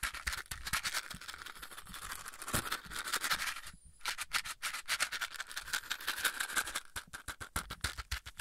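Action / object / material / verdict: tap / cardboard matchbox / cardboard / none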